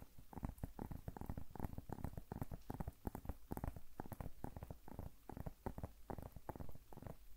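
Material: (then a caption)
Vegetable skin. Long nails tap and scratch the speckled skin of a large, solid whole zucchini held close to the microphone. The result is a quiet, rapid, irregular patter of soft, dull, low thuds mixed with faint scratching, with no ring after each tap.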